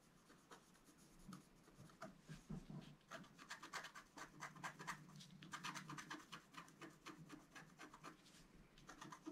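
A wooden stylus scratches the coating of a flat, black-coated scratch art card, about A4 size, lying on a table. Quick, short scratching strokes come in irregular bursts, dry and bright with a raspy edge centered near 1.8 kHz. The strokes are soft at first, then denser and louder in the middle, over a faint low rumble.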